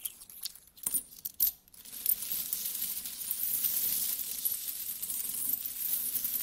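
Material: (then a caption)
Metal. Fingertips scratch through a pile of mixed small solid metal coins on a carpet and rub the coins together, then flat hands spread them out. Scattered bright clinks and scrapes with short quiet gaps give way to a steady, high, jingling rustle of coins sliding over one another. There is almost no low end.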